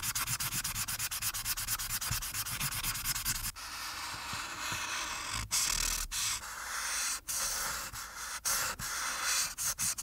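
A plastic marker's felt tip rubs repeatedly over the top background area of a flat printed paper coloring page on a dark backing, held down by one hand, coloring it orange. Quick, rhythmic back-and-forth scratchy strokes come first, then give way to longer, steadier rubbing broken by short pauses. The sound is a bright, hissy scratching with little low end.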